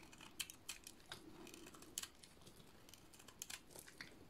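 A solid, cream-colored bar of dry soap is held in one hand and shaved with a utility-knife blade, sending curls falling off. Quiet, bright, crisp scraping and cutting ticks come in short bursts, with a faint low hum underneath.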